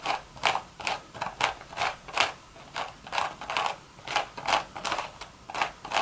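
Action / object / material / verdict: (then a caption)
scrape / woven straw hat / straw / none. Long red nails scratch and tap the hollow crown of a beige woven straw hat. The result is a quick, uneven series of dry, crackly rasps with a papery texture, centered in the midrange with bright high hiss and almost no low end. Each stroke stops short with no ring, leaving faint background noise between strokes.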